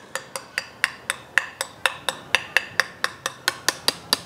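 A loose soldered steel bottom rib on a shotgun's barrels is tapped 18 times in a steady series. Each tap gives a short, bright, tinny click with a faint rattle and almost no ring, centered near 1.9 kHz. The rattle shows that the rib's solder joint has let go and the joint has failed.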